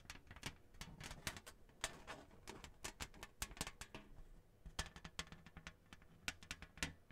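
Long nails tap and scratch across the glossy surface of a flat, thin, printed cardboard Hanukkah placemat with a menorah design, held in hand. Quiet, irregular, quick taps give dry, bright clicks that stop almost at once. Between them runs a faint scratchy rustle with a soft low thump under the strikes.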